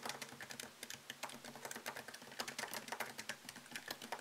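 Fingertips type on a MacBook Pro laptop keyboard with plastic keycaps set in an aluminium body. A steady run of about 29 quick, crisp taps is heard, each a bright, dry click that dies away almost instantly with almost no low end.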